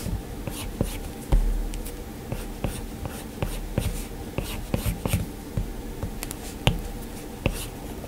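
A plastic stylus tip taps and strokes across the flat, solid glass screen of an iPad touchscreen, giving a string of short, crisp clicks over a soft, low scratchy rustle. The taps stop almost at once, with only faint high hiss between them.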